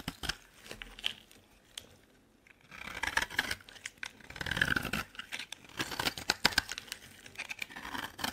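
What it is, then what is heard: Bar of soap being shaved. A metal blade shaves a solid, dry green bar of soap with an embossed leaf design, producing crisp, bright scraping and crackling like tearing paper. Quick clicks and sharp flicks come in uneven bursts, with a brief quiet pause before denser, steadier shaving strokes resume.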